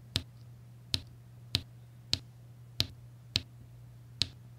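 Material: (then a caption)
Resin. A pink plastic applicator pen repeatedly taps and presses small, solid, faceted resin drills, mostly blue, down onto a flat adhesive diamond-painting canvas. Seven short, bright, clicky taps land at uneven intervals, each dying away almost instantly, over a steady low hum.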